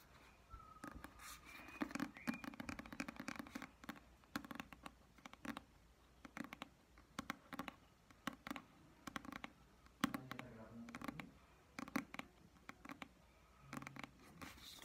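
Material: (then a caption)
Cardboard. Long dark nails tap and scratch the printed cover of a solid Alice in Wonderland hardcover book held upright. The quiet clip carries quick, irregular clusters of dry clicks mixed with scratchy rubbing that has a dull, low body. Each tap dies away almost instantly, with brief pauses between the bursts.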